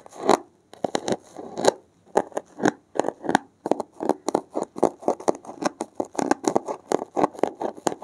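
A blue-gloved hand pushes a thin metal needle into the top edge of a thick, solid, porous block of dark grey foam and scratches along it. The result is a rapid, uneven series of short, dry, raspy scratches centered in the midrange, with a faint bright hiss and no ring after each stroke.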